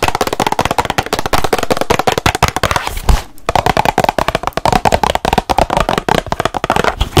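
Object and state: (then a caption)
Cardboard box. Long nails rapidly tap and scratch the surface of a small, hollow rectangular cardboard box printed with ladybirds, its contents unknown. The result is a dense stream of short, dry, hollow clicks with scratchy rasps between them, broken by a brief pause just past the three-second mark before the fast tapping resumes.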